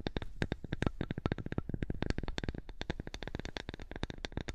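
Long nails tap and scratch a flat, thin, light wooden strip held in the hands close to the microphone. The result is a fast, uneven stream of short, dry clicks and taps, each with a soft low thump underneath and a bright ticking edge. Every tap dies away almost instantly, leaving a faint scratchy rustle between them.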